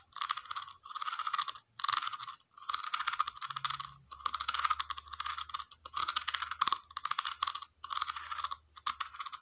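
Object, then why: Small round plastic container. A small, hollow, red plastic cylindrical container with a ridged concentric base is tapped and scratched with long nails. The result is bursts of quick, crisp clicking and scraping with a hollow mid-range tone and bright high edges. Brief pauses separate the bursts.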